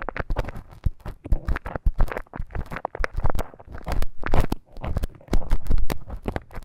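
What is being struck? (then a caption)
Silicone ear model with a bamboo ear pick. A thin bamboo ear pick scratches and scrapes inside the canal of a life-size, flesh-coloured solid silicone ear model that serves as a binaural microphone. Dense, crackly scraping and rustling is heard close up, with a deep low rumble and many quick, dry, short-lived ticks.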